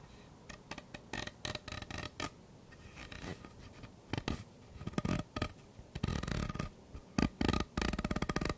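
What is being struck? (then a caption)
Ribbed plastic pop tube. Fingernails scratch and rub along the ridges of a purple, hollow, ribbed plastic pop tube held close up. The result is a run of quick, dry, rasping scrapes with a faint ringing tone. The strokes come in short bursts that grow denser and louder toward the end.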